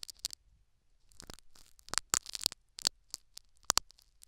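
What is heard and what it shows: A metal syringe needle prods and scratches the foam plug in the canal of a silicone dummy ear microphone. Sharp, dry crackling clicks and rustling scrapes come close and bright in uneven bursts, with a softer rasping stretch in the middle and one loud final crackle.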